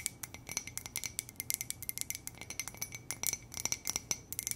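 Long nails tap rapidly on an empty, hollow white ceramic coffee mug printed with "muah!" and lips, making about thirty light, bright clicks and clinks. Each tap dies away almost at once over a faint steady high ring.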